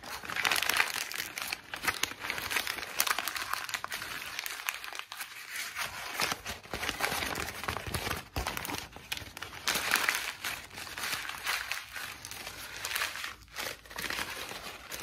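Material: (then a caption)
Paper. A torn-out sheet of thin, light, white lined notebook paper, already wrinkled, is crumpled and scrunched between both hands with fingertips and long pink nails. Dense, bright crinkling and crackling fills the clip, swelling and easing in waves with short dry snaps.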